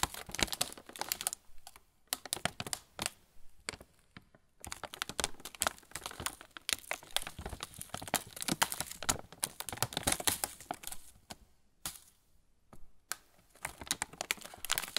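A sealed, full plastic pretzel bag is held in both hands while fingertips tap and rub quickly across its film surface. Rapid, dense bursts of crisp, bright crinkling and light tapping come in clusters separated by brief pauses.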